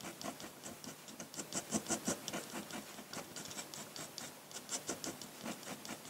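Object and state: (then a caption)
Paper scratched by a pen nib. A metal dip-pen nib hatches dense ink lines across a large flat white sheet of drawing paper, producing quick, uneven scratchy strokes. The strokes are short and bright, with a papery rasp and very little low end.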